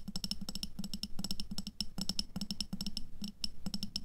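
Long nails tap rapidly on an upright clear glass jar full of red water beads (aqua pearls), held in both hands. The result is a fast, continuous run of sharp, bright clicks, each with a thin high ring over a soft, dull low body.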